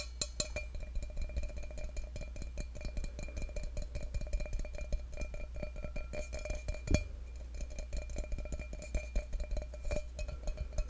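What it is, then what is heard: Stainless steel cup. Fingertips tap rapidly and lightly on the outside of an empty stainless steel tumbler held above a microphone, giving a dense run of short, dry clicks with a faint metallic ring. A steady low hum sits underneath throughout, and one sharper, louder tap stands out near the seven-second mark.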